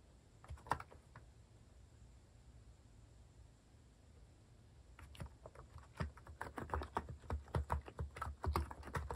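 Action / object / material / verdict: tap / plastic mechanical keyboard / plastic / none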